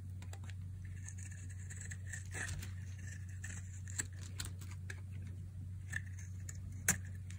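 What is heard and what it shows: A metal utility blade slices and scrapes chunks from the edge of a palm-sized, solid light-blue oval bar of dry soap held in one hand. Soft, crisp scraping and short bright cutting clicks come in quick succession over a steady low hum, with a few sharper snaps standing out near the end.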